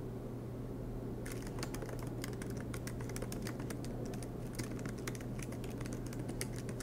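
Both hands type continuously with their fingertips on the black plastic low-profile keys of a MacBook Pro laptop with a silver aluminum body, resting on a green desk mat. After about a second of only a steady low hum, rapid, bright key taps begin and continue over the hum until the end.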